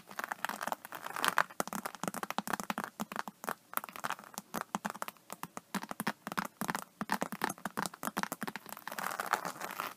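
Long nails on both hands scratch and tap the scaly surface of an iridescent, embossed faux-snakeskin vinyl (faux-leather) iPad case. The result is a dense, quiet run of crisp, crinkly scratches and quick dry clicks, centred in the midrange with little low end. Each tap stops almost instantly with no ring.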